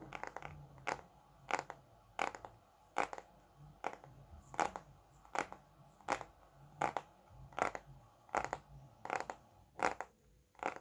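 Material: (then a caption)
Paper. Fingertips and nails tap and scratch the glossy cover of a thick red Bescherelle paperback grammar book of solid paper, held in both hands. A steady series of short, crisp taps sounds at a slow, somewhat uneven pace, some doubled, with soft scratching between them against a quiet background.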